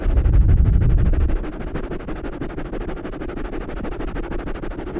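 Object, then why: Foam microphone windscreen. Fingertips scratch and squeeze two black foam windscreens on stand-mounted microphones, making a fast, rhythmic crackling rustle. The sound is deep and muffled, with a boomy low thump that is strongest in the first second and a half before easing into a steadier, quieter scratching.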